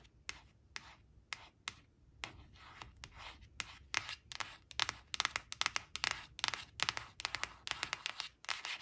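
Long nails trace, tap and scratch the surface of a thin, flat, glossy coated cardboard flash card showing a black crayon, resting on a fabric cloth. Quiet, dry, bright scratching strokes and crisp taps come in irregular bursts, sparse at first and growing busier and louder toward the end.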